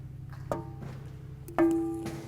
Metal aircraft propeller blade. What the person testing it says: if you do this and don't hear that nice ringing you may have a crack somewhere in the prop